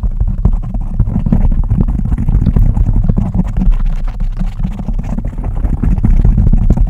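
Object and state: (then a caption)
Foam microphone windscreen. Fingertips and nails of both hands scratch and rub the black foam cover on a large microphone. The result is a continuous, dense, bass-heavy rumble with rapid scratchy pulses, almost all below 200 Hz, with no high-frequency content.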